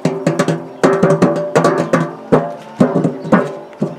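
A purple embossed metal lid on a large round hollow biscuit tin is tapped quickly with the fingertips. About sixteen quick taps arrive in short bursts, each a hollow, drum-like knock with a tonal ring around 250 Hz that fades within a fraction of a second.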